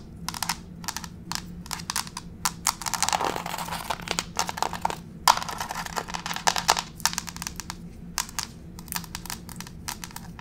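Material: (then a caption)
Laminate. Long pink fake nail tips tap rapidly on a solid, grey wood-grain laminate floor close up, producing quick, sharp, bright clicks with almost no ring. The taps come in dense runs with a busier, scratchy scurrying patch in the middle, over a faint low hum.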